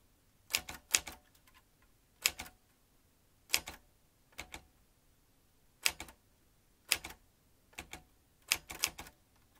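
Fingertips tap the round keys of a vintage metal manual typewriter with exposed typebars and carriage. Bursts of bright, sharp clacks come in short clusters separated by brief pauses, with almost no low end and each strike dying away instantly.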